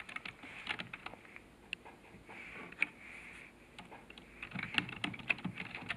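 Fingertips type rapidly on the keys of a black plastic computer keyboard resting on a desk. Bright, short clicks come in irregular bursts, busier toward the end, over a faint steady hiss.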